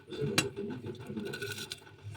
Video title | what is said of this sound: جربي الفكرة الموفرة دى هتبقي فطار غدا عشا جوزى قالى لمى ايدك من المصاريف وانا لميت وابهرته🤫😋 | اسمعوا بقى صوت القرمشة بتاعتها الحلوة دي